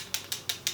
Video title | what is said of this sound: Bad SAKS Experience + HAUL | you shake it, and you hear a little ball in there